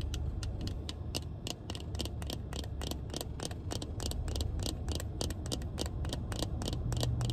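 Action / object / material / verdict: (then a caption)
tap / plastic sunglasses frame and lenses / plastic / none. Black plastic-frame sunglasses with tinted lenses are held up inside a car and tapped on the frame and lens with long red nails. Quick, irregular, sharp plastic clicks with bright tips repeat about three times a second over a steady low rumble.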